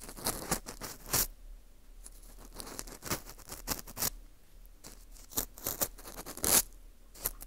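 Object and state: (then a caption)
Dried wheat gluten ring (fu) scraped. An orange plastic earpick scrapes the inside of the hole of a porous dried wheat gluten ring (fu) held in gloved hands. The result is a series of bright, dry scratching and crackling strokes with short bursts of high hiss. Quieter rustling fills the gaps between strokes.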